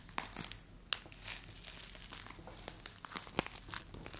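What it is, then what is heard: Play foam ball being squeezed and torn. A solid bright green play foam ball made of small polystyrene beads is pulled apart into two halves and pressed between both hands with long acrylic nails. Dense, bright crunchy crumpling and crackling, with sharp tearing snaps, comes from the squeezing and pulling. It is quiet overall, with short pops standing out above a steady crinkle.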